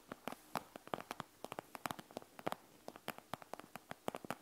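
Long fingernails on both hands tap and scratch the plastic, gel-bead-filled front of a panda gel bead eye mask resting on a wooden table. About 28 quick, dry clicky taps come in an irregular rhythm, each crisp and bright with no ring, over a faint scratchy rustle.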